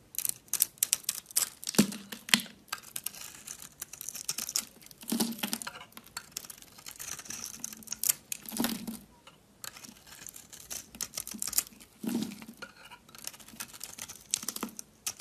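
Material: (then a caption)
Soap. A solid white, yellow and pink bar of soap, held in the hand, is shaved into curls with a metal utility knife blade. Crisp, bright scraping and rapid ticking fill the clip, with short, dry bursts that stop quickly. Several fuller strokes, around 2, 5, 8.5 and 12 seconds, add a low body to the rasp.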